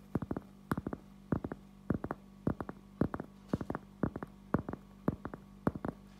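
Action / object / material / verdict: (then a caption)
tap / cork object / cork / none. A cork object is tapped in quick clusters of three or four soft, dull thuds that repeat roughly every half second. Each tap stops almost at once with no ring and no bright edge, over a faint steady low hum.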